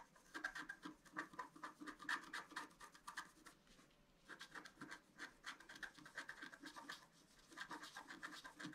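A pointed wooden stylus scratches a flat A4-size scratch-art card, black coating over a colored foil layer, lying on a table. Quick, dry scratching strokes rasp in a bright band around 1.7 kHz with almost no low end. The strokes pause briefly just before the midpoint, then resume at a steady pace to the end.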